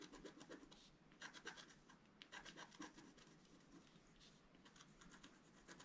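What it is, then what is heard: Scratch-art card being scratched. A wooden stylus scratches fine strokes across a flat scratch-art card, a black-coated board over a colored foil layer held flat on a table. Quiet, dry, bright scratching comes in many short rasping strokes, with dense high-frequency hiss and little low end.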